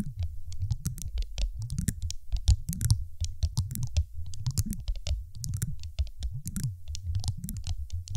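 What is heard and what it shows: A large, solid, dark teal glass marble resting on a microphone is tapped with long acrylic nails of both hands. The result is a fast, irregular stream of taps: deep, boomy thumps around 100 Hz, each topped with a sharp, bright click of nail on glass, dying away almost instantly.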